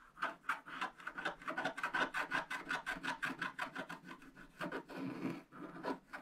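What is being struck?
Black-coated scratch-art paper and wooden stylus.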